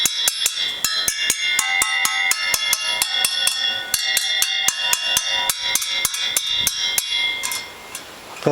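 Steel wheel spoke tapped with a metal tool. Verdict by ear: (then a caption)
Loose. Steel spokes on a Suzuki GT250 motorcycle's rear wheel are tapped in quick succession with a homemade tool, each tap giving a bright, high metallic ring. One spoke, deliberately left slack, is tapped for comparison and sounds looser than the ringing tight spokes.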